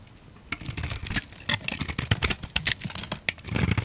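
A utility knife blade carves and scrapes white shavings off the face of a hand-held, solid, oval white bar of soap with a pink glitter rim. After a brief quiet start, a quick run of short, crisp, dry scraping and cutting strokes follows, bright and crackly with soft low thuds underneath and almost no ring after each stroke.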